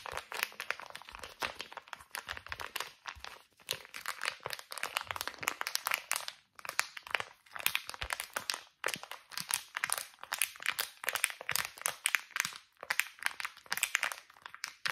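A small, flat, thin and flexible laminated plastic face mask sachet is held in both hands and crinkled and squeezed with the fingertips. This makes dense, bright, crackly crinkling that comes in quick bursts with a few short pauses. There is almost no low end, and each crackle stops instantly.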